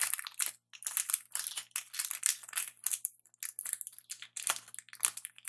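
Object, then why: Metallic plastic candy bar wrapper. Fingertips crinkle and squeeze the metallic plastic wrapper of a Twix candy bar held close up. Bright, dense crackling comes in rapid bursts separated by brief silences, with sharp crinkles and almost no low end.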